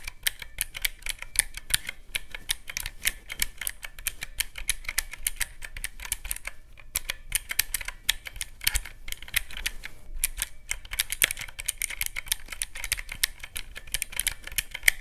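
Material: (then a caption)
Plastic. Fingertips rapidly press the round black keycaps of a teal plastic mechanical-key calculator, producing a dense stream of sharp, bright clicks with no ring. The clicking runs steadily throughout, with brief lulls around 7 and 10 seconds.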